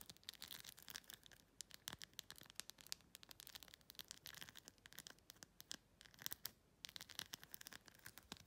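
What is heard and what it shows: Long glossy red pointed nails quickly scratch and tap across a hand-sized, thin, hollow clear plastic phone case covered in glued-on faceted plastic rhinestones of several sizes, including over both the gems and the case surface. The result is a dense run of rapid, dry, bright clicks and scratchy rasps with almost no low end and no ringing after each contact.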